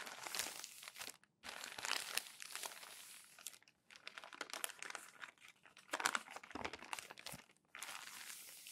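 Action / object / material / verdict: scrape / glossy magazine pages / paper / none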